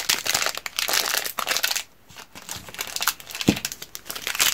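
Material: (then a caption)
Plastic film. A 190 g solid bar of strawberry soap in a crinkly orange plastic film wrapper is squeezed, crumpled and rubbed by black-gloved fingers and turned from front to back. Dense, bright crinkling comes in rapid bursts, with a brief quiet pause near the middle before the crackling resumes.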